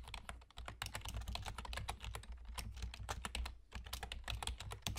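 Fingertips of both hands type rapidly on a black plastic gaming keyboard, an external computer keyboard with a German layout (Entf and Pause keys) and hollow key caps. Dense, clattering keystrokes with bright clicky tops run continuously over a steady low hum, easing briefly around 0.6 and 3.7 seconds.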